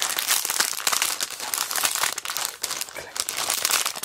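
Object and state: Plastic-bagged sticker sheet being crinkled.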